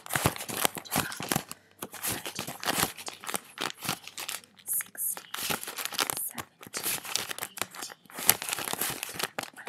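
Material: Paper.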